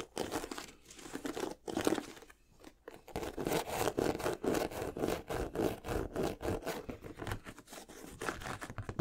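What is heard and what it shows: Fingertips and nails rub and scratch the leather upper of a single empty white leather high-top sneaker held up in the air. A dense run of quick, irregular crinkly scratches is heard, with a brief quieter lull a couple of seconds in before the dry scraping picks back up and continues to the end.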